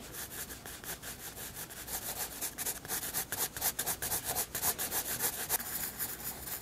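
A graphite pencil shades a white paper sketchbook page with quick, repeated rubbing strokes, about four per second. Each stroke makes a soft, bright, papery hiss. The strokes grow a little stronger toward the middle of the clip and stay fairly quiet overall.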